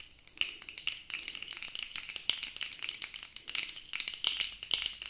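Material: Plastic.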